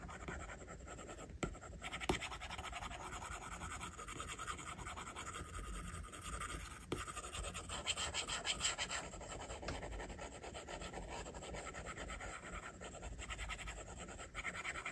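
A plastic stylus tip draws on an iPad's glass screen, making soft, continuous rubbing and scratching strokes for shading. The steady, quiet hiss of the strokes spans low to bright tones, with a few sharper taps of the tip standing out.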